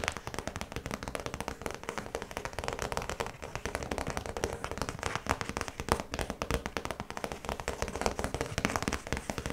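Long nails tap rapidly on the clear plastic face of a small, flat zip pouch holding a printed yellow card. The result is a dense, continuous stream of quick, crisp plastic clicks that decay almost instantly, with no pause from start to finish.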